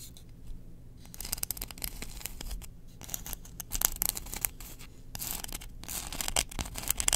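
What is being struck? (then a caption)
Engraved bamboo spoon. Long nails scratch the bowl and handle of a long, solid, engraved bamboo spoon held in the hands. The clip is made of quick, bright, dry scratching strokes that come in dense bursts with brief quieter gaps. Beneath them sits a faint, steady low hum.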